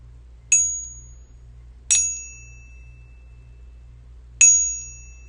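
A .999 fine silver bar resting in a pocket pinger ping-test device is flicked and then struck with the beating stick, giving three separate, bright metallic pings. Each one rings out clearly with a high tone before decaying. The bar rings cleanly, as expected for a genuine fine silver bar.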